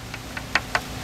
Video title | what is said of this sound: Show 19 season 1 | that's a good fiberglass sound there's no delamination going on in the hull so that's what we're looking for when we do what is called a percussion test